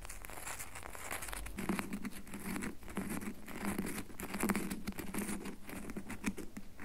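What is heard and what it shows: Long nails scratch and patter rapidly on the sides of a solid red bar of soap held in both hands. The result is a dense, continuous stream of soft, dry taps and scratches with a low, muffled body and bright clicky edges, steady in level throughout.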